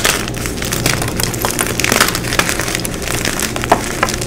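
Solid white gym chalk blocks of magnesium carbonate are crushed and squeezed by hands with long pink nails, crumbling into chunks and powder. A steady, dense crunching and crackling runs throughout, with bright, brittle snaps over a soft low rumble and a few sharper cracks standing out near the end.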